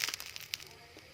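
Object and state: Crisp-crusted bread roll.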